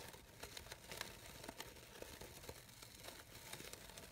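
The petals of a light-blue, layered synthetic organza fabric rose are scratched and rubbed by long nails. The result is a quiet, bright, crinkly rustle of quick scratches and small crackles that follow one another steadily throughout.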